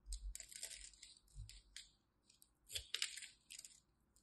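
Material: Glycerin soap.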